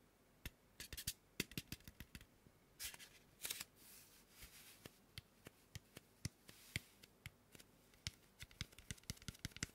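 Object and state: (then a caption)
Styrofoam mannequin head (tapped and scratched). Fingertips with short nails tap and scratch the face and cheek of a large white polystyrene foam mannequin head. Many sharp, dry, bright clicks die away almost instantly, with softer hissing scratch passages near the middle. It is a quiet, close, crisp texture of irregular taps.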